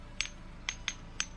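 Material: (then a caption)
Stone. Singing stones (lithophones) at the Catedral de Piedra camp, the kind the Diaguita ancestors struck to make music, are struck four times. Each strike gives a short, clinking, glassy ring in the high range. The ringing shows the stone's resonant quality.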